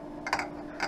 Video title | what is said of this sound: Mike's Ray-ban 8901 with Crizal Prevencia Blue Blocking Lenses | every lens material has their own unique sound that's how we can tell them apart